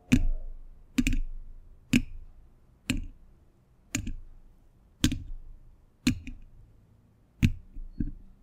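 Fingers wearing metal thimbles, in fingerless gloves, tap and scratch the hollow, domed steel mesh grille of a large condenser microphone. Sharp metallic clicks land about once a second, each with a low, hollow thump that fades quickly.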